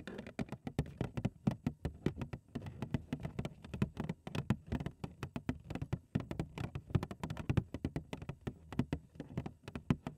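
Long acrylic nails tap and scratch the front face of a large, hollow, printed cardboard cereal box held in both hands. The result is a rapid, irregular patter of short, dull, hollow taps with a low body and little ring, mixed with soft scratching between them.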